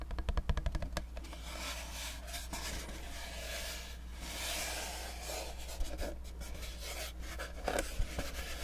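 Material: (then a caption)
Cardboard. A small, dark, hollow cardboard cube box held in both hands is tapped quickly with fingertips and nails, giving a burst of rapid, dry clicking taps at the start. This gives way to a steady rubbing, scratching texture with a few sharper taps later, all over a constant low hum.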